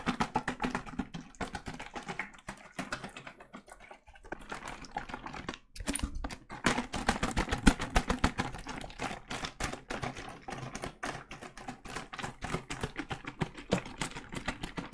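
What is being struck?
Plastic bottle of cleaning liquid.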